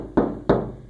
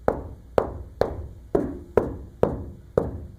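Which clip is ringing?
The first.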